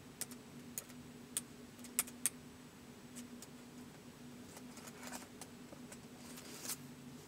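Fingertips type slowly on a white plastic laptop keyboard, producing sharp, bright, very short clicks spaced irregularly apart. The keystrokes are strongest early on, then turn softer and more clustered. A faint steady hum sits underneath throughout.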